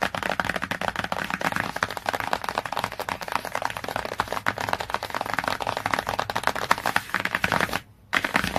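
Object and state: Glossy laminated hardcover book tapped.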